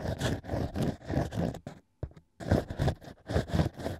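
A bamboo ear pick held in the fingertips scratches inside the hole of an ear made from stacked, drilled natural wine corks. Repeated soft, low, rumbling scrapes come in rhythmic bursts, broken by a short near-silent pause before the scratching resumes.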